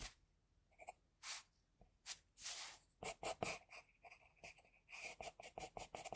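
An HB pencil in a metal extender, held in the fingers, scratches sketch strokes of an eye onto a flat sheet of white drawing paper resting on a desk. Soft, dry, bright scraping comes in a quick series of short, separate strokes, some longer swishes among them, with near-silence between.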